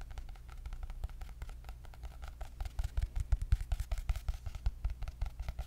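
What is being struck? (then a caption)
Hardcover notebook with cardboard cover. Long nails tap quickly and unevenly on the cardboard cover of a white hardcover paper notebook with gold dots. Each tap is a short, dull, low thump with a faint click on top and almost no ring. The tapping grows louder and more distinct in the second half.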